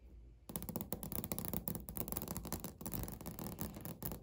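Natural fingernails tap and lightly scratch a flat, solid beige speckled laminate countertop. After about half a second of faint low hum, a quick, dense run of short, dry clicks begins. The clicks have crisp high edges and scratchy scraping between them, and the pattern continues to the end.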